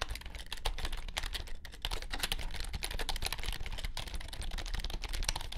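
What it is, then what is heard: Plastic low-profile keyboard being typed on. A compact white plastic wireless keyboard with low chiclet keys and a hollow shell, resting on a grey felt mat, is typed on with the fingertips of both hands. The result is a fast, steady run of short, dry key taps: a bright, clicky clatter over a soft low thump, each tap dying away almost at once.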